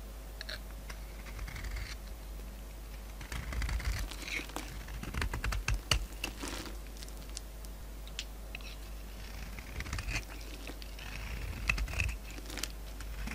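A solid oval white bar of soap with a glittery burgundy coating, held in the palm, is scraped with a utility knife blade, shaving off crumbly, powdery flakes. Dense, irregular scratchy scraping ticks and crackles come in bursts over a low steady hum, with brighter crisp flecks as the blade bites.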